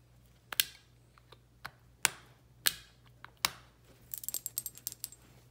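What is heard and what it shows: Long pink nails tap and scratch a small frosted glass perfume bottle with a metal collar, round cap and pink label, partly filled with liquid, first held in the hand and then laid on a blue towel. Sharp, bright glassy taps ring out one by one with short fading tails, then a quick flurry of lighter clicking taps follows near the end. A faint low hum sits underneath.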